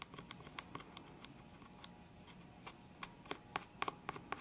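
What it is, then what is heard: Plastic pen case full of markers. Fingernails tap and scratch the lid of a full, clear hard plastic box of felt-tip pens. Fifteen short, dry clicks land at an uneven pace over a faint scratchy hiss. The taps are quiet but crisp, with a bright edge and almost no ring.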